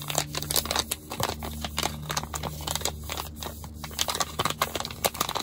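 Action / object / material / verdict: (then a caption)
tap / foil and plastic laminate face mask sachet / foil laminate / none. A small, thin, filled Yes To face mask packet of flat foil and plastic laminate is crinkled and tapped by fingers. Bright, crackly crinkling mixes with a rapid series of short, sharp taps over a faint low steady hum.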